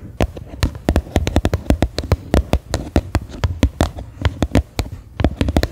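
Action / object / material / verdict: tap / plastic bowl / plastic / none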